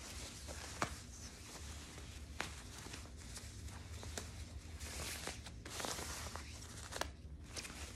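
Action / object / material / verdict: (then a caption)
scrape / quilted nylon puffer jacket / nylon / none. Long nails and fingertips scratch and rub the surface of a soft, padded, light pink quilted nylon puffer jacket held up in view. The result is a steady, quiet, hissy rustle over a low background hum, broken by a few brief sharp scratches.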